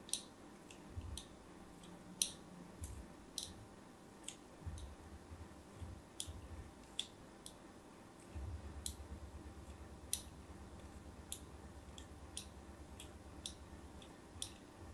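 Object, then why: Bar of soap scored with a thin metal blade. A hand with long pink nails holds a hand-sized solid white Nefis bar of soap while the tip of a thin metal blade scratches and scores diagonal lines into its surface. Each score gives a short, sharp, bright click that dies away almost instantly, repeating irregularly over a quiet, low, rumbling background.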